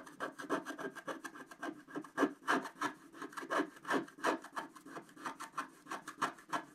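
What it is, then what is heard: Scratch art paper being scraped. A wooden stylus scrapes quickly back and forth across a flat scratch art card of coated black card. It makes a dense, rasping rub in a rapid, uneven series of short strokes. Each stroke has a papery midrange body and bright scratchy streaks.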